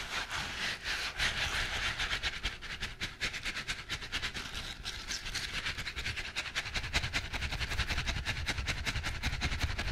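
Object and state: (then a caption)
Silicone scrubbing glove scratched. A green silicone scrubbing glove with a bristled palm, held in a hand, is rubbed and scratched with the fingertips. It makes fast, uneven rapid scratching and rustling with a bright hiss and a low rumble underneath. The sound grows slightly denser and louder toward the end.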